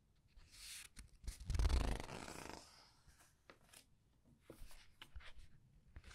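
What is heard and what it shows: Glossy paper pages of a large, thick hardcover art book with a red edge, lying open on a white table, are turned and rubbed one at a time by fingertips with long red painted nails. A loud, airy swish of a page turning peaks in the first half, followed by quieter, scattered sliding rustles and soft ticks as the fingers move over the paper.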